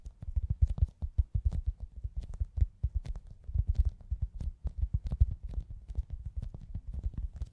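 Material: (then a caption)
Foam. A hand-sized, soft, solid foam squishy toy shaped like a pizza slice with a cartoon face is held in both hands and tapped and scratched with long acrylic nails. It gives a rapid, uneven stream of dull, muffled low thumps with faint scratchy ticks, and each tap dies away at once.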